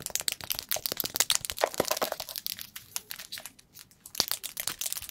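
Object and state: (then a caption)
Plastic supplement tub. Long pointed acrylic nails rapidly tap and scratch a medium cylindrical plastic tub of chlorella powder with a green plastic lid, hollow and partly full of powder, held close to the microphone. Dense, bright, crackly clicks and scrapes follow one another with almost no ring, easing briefly before a sharp tap brings the quick tapping back.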